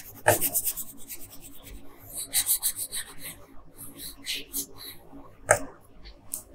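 A wooden colored pencil makes slow, light scratching strokes across a thin paper coloring sheet lying flat on a table. Soft, dry rasping rises and fades with each stroke, with a couple of sharper ticks where the pencil tip meets the paper. The overall sound is quiet, with a bright, airy grain.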